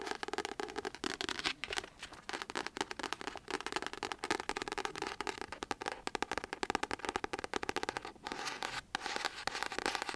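A pink paperback novel, "Just Like Magic," with a paper cover is held in the hands and tapped and scratched with long acrylic nails. The result is a dense, continuous stream of quick, dry clicks and crisp scratching with a bright, papery texture and almost no low end. Brief pauses break up the rapid nail strokes.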